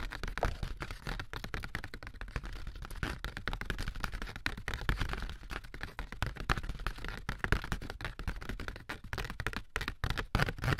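A thin, light, handheld sheet of ribbed corrugated cardboard is tapped and scratched along its ribs with AA batteries worn as long nails. The result is a dense, continuous stream of quick, dry clicks and scratchy crackles with a low, hollow thump underneath. Each tap dies away almost instantly, with no ring.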